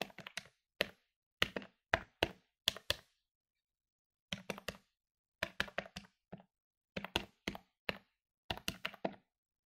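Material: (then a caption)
Plastic. Plastic keys on a medium-sized plastic electronic calculator lying on a wooden table are pressed rapidly with fingertips and nails. The result is bursts of short, dry, bright clicking taps with almost no ring, separated by brief pauses.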